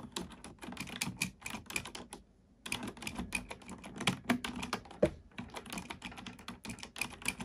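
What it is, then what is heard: Plastic computer keyboard. A black plastic computer keyboard is typed on with both hands, using fingertips and nails. It makes a steady run of quick, bright plastic clicks and clacks with a short pause in the middle, and each keystroke dies away almost at once.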